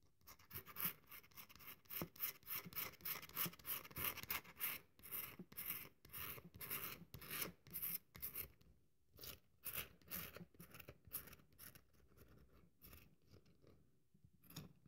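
A solid, dry cream-colored bar of soap is held upright and scraped rapidly with long nails, and crumbs fall away. Quick, dry, bright scratching strokes come in a loose rhythm with very short decay and pause briefly near the end.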